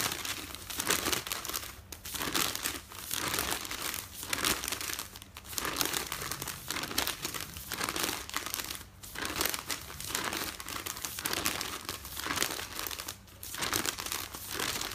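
Fingertips with painted nails crinkle, fold and rub the top pages of a folded stack of newsprint resting on a bed. Dense, bright papery crinkling and rustling comes in rolling waves that swell and ease roughly every second, with very little low end. Brief quieter gaps fall between the bursts.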